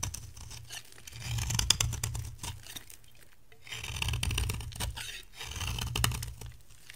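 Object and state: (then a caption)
Dry bar soap being scraped. A metal cutter blade scrapes across the face of a dry brown bar of soap with a green shell, held in hand, shaving off curls. Three drawn-out scraping passes build and fade, each a dry, crackly crunch with bright, fine grit over a low rumble, separated by near-quiet gaps.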